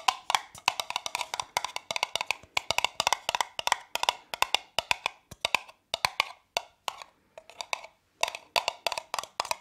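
Long nails tap and scratch the side and bottom of a hollow, apparently empty brown kraft cardboard cup with printed text, held in one hand. Rapid bursts of dry, clicky taps with a hollow tone near 1 kHz and a bright edge, with no low end, are separated by brief pauses. Each tap dies away almost instantly.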